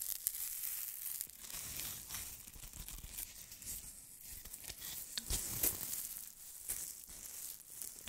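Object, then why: Styrofoam ball ornaments. Fingernails scratch two white styrofoam-ball snowman ornaments held close to the mic, making dense, irregular squeaky scratching and crinkly tearing sounds. The sound is mostly bright and high with a light low rumble, and it runs continuously with brief louder scrapes throughout.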